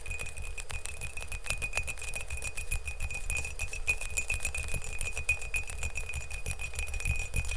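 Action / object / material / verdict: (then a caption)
tap / empty glazed ceramic mug / ceramic / none. Fingernails tap rapidly on the outer wall of an empty glazed ceramic mug held in both hands. A fast, continuous stream of short, bright clicks runs over a steady ringing tone near 2.5 kHz and a low rumble. Each tap dies almost at once, so the sound stays an even clatter throughout.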